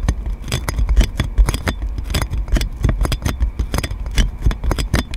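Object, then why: Plastic cling film wrapped over a microphone. Long nails scratch clear plastic cling film wrapped around a metal microphone, making a rapid run of crinkly, scraping strokes. Each stroke carries a heavy, deep low thump and rumble under brief bright crackle, with short, dry pauses between them.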